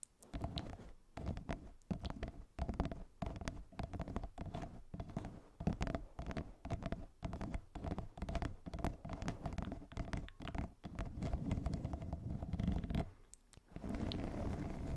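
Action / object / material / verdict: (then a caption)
scrape / corrugated plastic pop tube over a fluffy microphone cover / plastic / none. A yellow corrugated plastic pop tube, hollow and ribbed, wrapped around a fluffy microphone cover, is scratched and tapped with long nails. Dense, muffled, low tapping and scraping continue almost without pause, with many quick, dry clicks that die away fast. A brief lull comes near the end before the scratching resumes.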